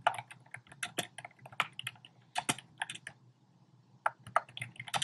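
Fingertips type rapidly on a compact black plastic typewriter-style keyboard with round plastic keycaps, producing quick, dry, bright clicks with almost no ring. The taps come in irregular bursts, slow to sparse soft clicks for about a second near the middle, then pick up again.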